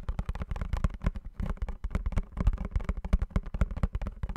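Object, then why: Small printed cardboard box. Fingernails tap and scratch quickly across the surface of a small blue printed cardboard perfume box held in both hands. A rapid, uneven run of short, dull, low-heavy taps fills the clip, each dying almost instantly, with faint bright scratchy edges between them.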